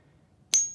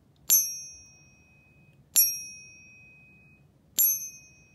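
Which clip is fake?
The first.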